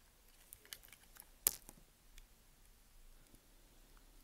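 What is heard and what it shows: A small solid block of white bar soap, held between the fingers, is carved and scraped with a utility knife blade. Faint, bright, crisp ticks and scratches come through over low background hiss, with one sharper, louder crunch about midway through.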